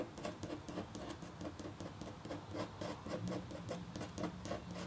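A red-handled, metal-tipped stylus scratches fine strokes into a flat, black-coated copper foil scratch art sheet with a hummingbird design. The result is a quick, uneven series of short, dry scratching sounds with soft, bright edges over a faint low hum.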